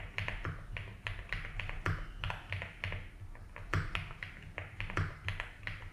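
A compact 75% mechanical keyboard with white and blue ABS plastic keycaps, a light blue plastic case and a foam-filled body is typed on slowly and continuously with the fingertips of both hands. Each keystroke gives a short, muted clack with a deep, soft thock underneath and a bright tick on top, dying away quickly in an uneven but steady rhythm.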